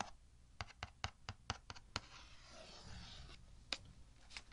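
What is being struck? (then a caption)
Cardboard box. Fingernails tap a hollow kraft cardboard box nine times in quick, uneven, dry clicks, mostly in the first two seconds. A softer, bright scratching rustle follows across its sides as the box, lid on, is lifted, with a couple of final taps.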